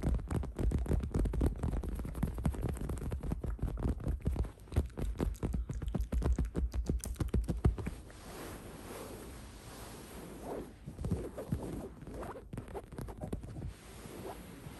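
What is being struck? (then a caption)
Woven fabric throw pillow. Long acrylic nails on both hands scratch and tap the woven fabric surface of a large, soft, patterned throw pillow resting on a couch. For about eight seconds there is a dense, fast run of scratches and taps with muffled low thumps, then it drops to quieter, softer scratching with only occasional louder strokes.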